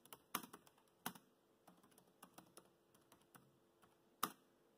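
Fingertips type on a laptop keyboard with black plastic keys, making a quiet, uneven stream of short, dry clicks. Three sharper, louder key strikes stand out near the start, around one second, and near the end.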